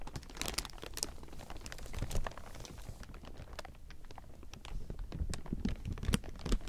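Fingertips scratch and grip a large heap of thin clear plastic film, producing dense, irregular crinkling with sharp, bright crackles over a low rustle. The sound swells into louder bursts around two seconds and again toward the end, with a quieter, sparser stretch in between.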